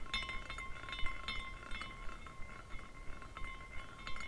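A long-nailed hand flicks the top of a small clear glass carousel ornament with a hollow canopy and hanging glass horses, spinning it so the glass parts chime together. Quick, irregular bright clinks and tinkles repeat over a faint low background, with thin ringing tones around 1 and 2 kHz that fade quickly.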